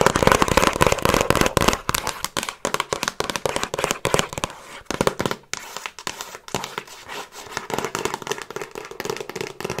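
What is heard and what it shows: Long acrylic nails give fast, scratchy tapping across the front cover of a handheld Frasier season DVD box set, a hollow box with discs inside in a glossy printed cardboard slipcase. Dense, dry, crackly clicks with a papery scratch run throughout, loudest in the first two seconds and then softer and more scattered.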